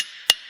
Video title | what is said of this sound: Enclumes | ça résonne carrément pas, en fait. Cette enclume-là, elle absorbe l'entièreté du choc